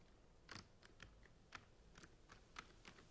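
Fingernails tap quickly on the blue plastic caps of a rack of plastic centrifuge tubes. Nine short, bright clicky taps come at an uneven pace, each dying away almost at once over a soft, steady background hiss.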